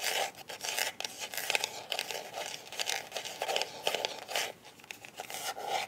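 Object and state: Hard plastic glasses case.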